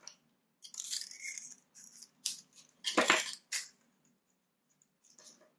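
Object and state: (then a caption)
Sugar-coated dry soap being scraped. A palm-sized bar of dry white soap with a purple sugar coating, held in one hand, is carved and scraped with a metal knife blade. A series of short, bright, crunchy scraping strokes is heard, each dying away quickly. Crumbly shavings fall onto a white surface.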